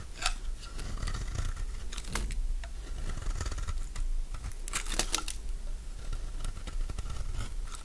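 A solid oval mint-green Fa soap bar held in the palm has curled strips shaved from its face by a metal blade. The shaving gives crisp, scraping crunches with bright transient clicks, heavier bursts coming around two and five seconds, over a steady low rumble.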